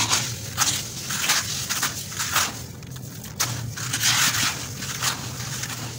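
A hand breaks up and crumbles a large wet clump of coarse, damp tan sand in a white plastic bucket, rubbing the grains into the pile. Bright, gritty crunching and crackling come in repeated rough bursts with short pauses, over a faint low hum.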